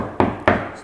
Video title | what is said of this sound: เคาเตอร์ไม้สัก • สีเสี้ยนดำ • #ร้านปัญญาเฟอร์นิเจอร์ไม้อยุธยา | เสียง แน่นมากต้องบอกว่าตัวนี้มาให้หนามากครับ